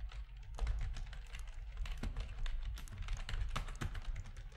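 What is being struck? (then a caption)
Plastic computer keyboard. Fingertips of both hands type on a full-size black plastic RGB-backlit keyboard with a hollow plastic housing, resting on a desk. A quick, uneven run of sharp clicky key taps with bright edges sits over a steady low hum.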